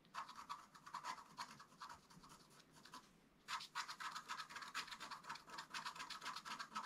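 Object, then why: Black-coated scratch art card over foil, scratched with a wooden stylus. A thin wooden stylus held in the fingers scratches short strokes across a flat A4-sized scratch art sheet, a black coating over a colored metallic foil base, lying on a table. Quick, dry, bright scraping rasps repeat at about four per second, centered on a mid-high hiss. They pause briefly near the middle, then resume more strongly.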